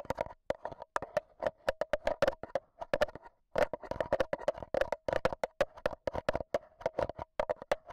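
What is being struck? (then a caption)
Handheld recorder's metal mesh mic grille tapped with AA batteries. A black Zoom H1n recorder is held in hand while AA batteries worn as long nails tap its metal mesh microphone head. The result is a rapid, irregular stream of short, sharp clicks and taps with a faint ringing tone around 600 Hz and bright high edges, each hit dying away almost instantly.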